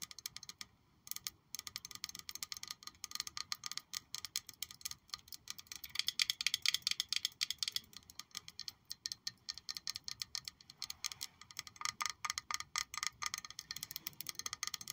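Long pointed nails tap and lightly scratch a hollow, palm-sized black glass perfume bottle shaped like a high-heeled shoe with a gold heel, held and turned in the hands. The result is a quiet, irregular stream of rapid, bright clicks, about four per second, each dying away almost instantly. There is a glassy tone near 3.4 kHz and no low end.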